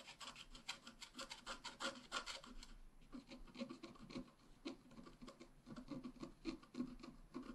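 A wooden stylus scratches lines into a flat black wax-coated scratch art card, working over the bicycle and handlebar area of the picture. Short, dry, raspy scratching strokes repeat at an uneven pace of about three per second, with a bright hiss over a soft low body around 250 Hz.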